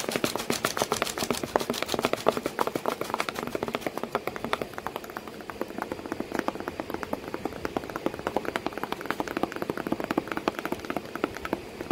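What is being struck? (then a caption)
Cardboard box. Fingers tap rapidly and continuously on a cardboard box with a cat sitting inside it. The taps are dense, dry and short, with no ringing, and are centered in the mid range with some bright edges. They sound faster and louder at the start, then settle into a steady, slightly softer patter.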